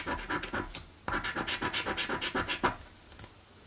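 A coin held in the fingertips rapidly scratches the panels of a blue paper scratch lottery ticket. Quick, rasping strokes come in two bursts separated by a short pause, with a bright, papery texture. The scratching then trails off into quiet.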